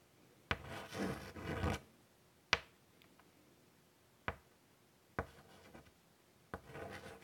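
A hand draws a flower outline in white chalk on a large, flat chalkboard set in a wooden frame. Each stroke starts with a sharp tap and turns into a dry, bright, scratchy rub. The strokes come in short bursts separated by quiet pauses.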